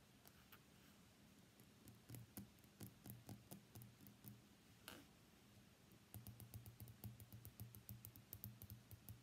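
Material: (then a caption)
Glass, steel. An iPhone X with a glass body and stainless steel frame is tapped by fingernails on the screen, the steel edge and the back glass. Quiet, irregular clicks with very short decay sound over a low hum. Bursts of faster tapping come near the start, in the middle and through the last few seconds.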